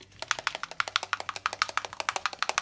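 A small plastic bottle of paint with a small steel ball inside is shaken to mix the paint, which is a little dry. The metal ball rattles in a quick, steady run of about 20 sharp, bright clicks that stop almost instantly, over a faint low hum.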